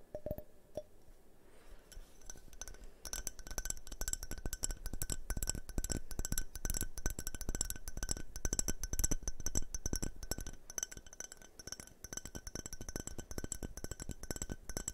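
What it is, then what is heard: Glass tumbler. A hand-sized, hollow, multicolored tinted glass tumbler is held upright and tapped with fingernails. The result is a rapid, uneven stream of short, bright clinks. Each clink has a thin high ring that dies away almost at once, over a soft low thump.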